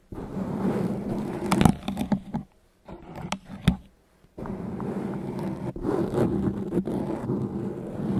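Fingertips and nails from both hands rub and scratch the surface of a large, soft, porous grey foam windscreen covering the capsule of a handheld recorder's microphone. Dense, low, muffled scraping and rustling fills the clip, with sharper scratches and taps standing out. A brief near-silent pause comes midway before the steady rubbing resumes.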